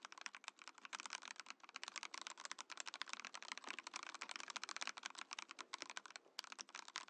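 A compact Mojo68 mechanical keyboard with a translucent plastic case and plastic keycaps is typed on quickly with the fingertips. It makes a steady stream of bright, crisp plastic clacks that stop short with almost no ring and no low-end thump.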